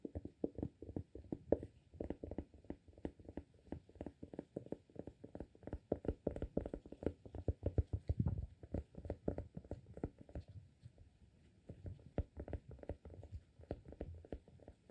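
Fingertips tap the cork lid of a small amber glass candle jar full of wax, held in one hand. The rapid, continuous taps are soft and dull, with short thuds that die away almost instantly and a low-heavy tone with little brightness.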